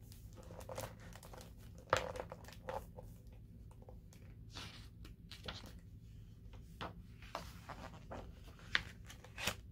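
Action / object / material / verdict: scrape / large hardcover book with glossy paper pages / paper / none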